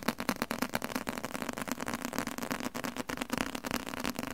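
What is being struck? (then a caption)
Leather-covered book. A large, solid book with a dark red leather cover is held in the hand and tapped rapidly with the fingertips on the leather. The result is a quick, uneven stream of soft, dull knocks and light scratchy clicks with a low, woody thump around 230 Hz. Each tap dies away almost instantly.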